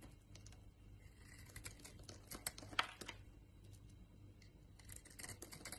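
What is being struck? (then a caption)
Bar of soap shaved with a knife blade. A utility knife blade shaves a solid white Lux soap bar into dry flakes, producing quiet, continuous crisp scraping and crinkly ticks. A few sharper, brighter snaps stand out midway, over a steady low hum.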